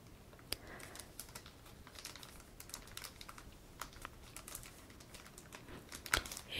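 A held-up pack of 35 rigid, clear plastic card toploaders, a solid shrink-wrapped stack with a paper label, is tapped and scratched across the front with nails and fingertips. Quiet, dry, bright clicks and scratchy rustles follow one another with no ring, and a louder burst of tapping comes at the end.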